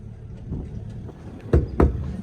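The fuel tank of a Kubota SVL97 skid steer is checked by sound, giving two loud, low, hollow thuds that die away quickly, after fainter knocks. It sounds empty even though the fuel gauge reads half a tank. The tank then takes a lot of fuel when refilled, pointing to a faulty sending unit.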